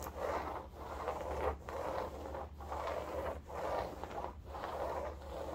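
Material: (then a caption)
Woven fabric. Long gold nails scratch back and forth along the woven upholstery fabric of a cylindrical striped bolster pillow. The result is a steady run of soft, rasping midrange strokes separated by brief pauses, with a low hum underneath.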